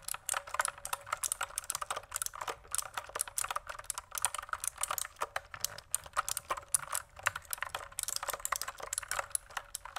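Fingertips type steadily on a pink plastic mechanical keyboard held at an angle, producing a rapid stream of sharp, bright clicks and clacks with very short decay. The keystrokes come in quick, uneven bursts over about ten seconds, with almost no low-end body.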